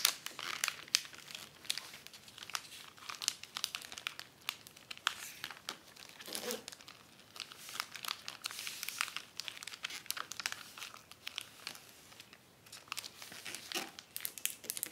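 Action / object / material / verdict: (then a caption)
scrape / acetate film sheet on paper backing / acetate film / none. A long, flat, folded sheet of thin clear acetate dust jacket cover film on white paper backing lies on a wooden table. Fingertips and long dark-painted nails press, smooth and rub along it. The result is dense, bright crinkling and crackling with many quick, dry rustles.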